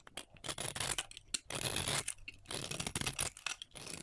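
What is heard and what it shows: A hand-sized solid bar of soap with a green and purple glitter coating and a white interior is held in the hands and shaved with a metal utility knife blade. Quick, bright scraping and cutting strokes come one after another, rasping and crisp with little low end, as flaky shavings come off the bar.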